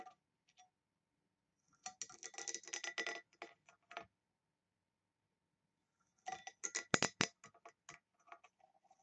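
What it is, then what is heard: Engraved brass box, scratched. Long nails scratch across the engraved lid of a small hollow brass box with a ring handle. Two bursts of dense, bright, dry scratching and ticking are heard, separated by silence and trailing into a few scattered light clicks.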